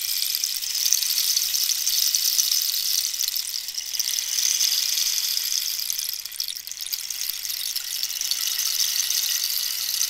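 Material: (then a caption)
Cactus wood. Long nails scratch along the ridged surface of a hollow cactus-wood rainstick held diagonally. The result is a steady, bright, hissing scrape sitting almost entirely in the high frequencies, with a brief softening partway through before it resumes.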